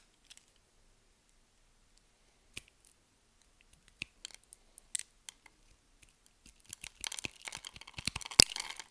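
A hand with long nails holds a solid, hand-sized pink bar of SULU soap while a metal blade scores it in a grid, scraping and cutting until small cubes break off. Sparse, crisp high-pitched clicks and scrapes come first, then build into a dense run of crackling cuts near the end.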